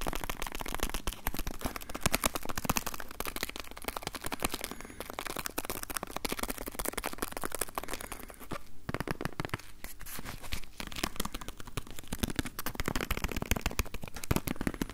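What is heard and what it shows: A small, hollow, yellow printed cardboard product box is held in both hands and tapped rapidly with the fingertips and nails. The result is a dense, continuous stream of quick, dry, crackling taps with a low hollow thump underneath, running steadily with no pauses.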